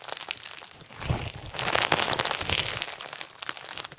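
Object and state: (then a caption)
Clear slime with plastic sequins. Pink and white clear slime with plastic sequins is stretched and folded in the hands while fingertips press into the sequins. It makes dense, bright crinkling and crunching crackles, mostly high in tone with little low end. The sound swells louder in the middle of the clip and then eases off toward the end.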